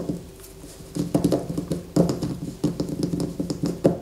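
A solid white bar of soap resting on a paper poster is gripped with both hands and scratched with long fingernails. Quick clusters of dry, muffled scratching come in bursts over a quiet background, with a dull low-mid body, little brightness and a very short decay.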